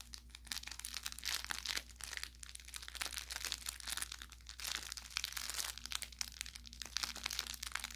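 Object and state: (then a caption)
Plush toy with crinkle filling. An orange velour plush carrot cat toy with crinkle filling is squeezed repeatedly with the thumb and fingers. It makes dense, bright crinkling and crackling with quick pops over a steady low hum.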